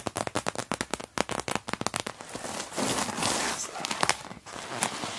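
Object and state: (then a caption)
Clear vinyl pouch stuffed with crumpled tissue paper. Long-nailed fingertips rhythmically press and tap the clear vinyl pockets of an open PVC cosmetic pouch stuffed with crumpled tissue paper. A quick run of sharp, distinct plastic crackles gives way after about two seconds to a denser, continuous crinkling rustle, with a few brighter snaps near the end.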